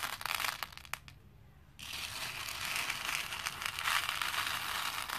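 Both hands grab handfuls of small plastic faux pearl beads and drop them over a plastic bowl, making a dense, bright clattering rattle. A brief quieter gap follows the first spill, then the beads pour again in a steady, continuous patter of quick clicks.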